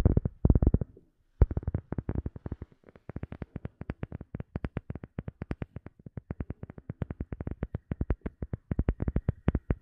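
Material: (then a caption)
Rubber. A rubber sheet is tapped in rapid, steady runs of short, dull taps. The taps are low and thuddy with almost no ring, and there is a brief pause just after the first second.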